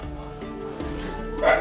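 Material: Nothing is struck.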